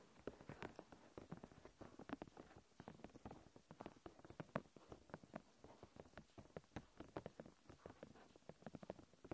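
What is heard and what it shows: Long dark-painted nails tap and scratch across a thin, flexible, clear plastic protective film sheet stretched over a handheld recorder. The result is a quiet, steady stream of quick, soft, crinkly taps and scrapes, each dry and short with almost no ring, sitting mostly in the low and middle range.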